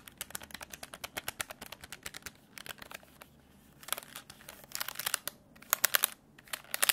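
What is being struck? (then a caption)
Plastic desk calculator. Fingertips tap and click the plastic keys of a black plastic desk calculator with a hollow case, producing many rapid, bright, dry clicks that die away instantly. The clicking comes in quick runs with brief pauses, growing denser and louder toward the end.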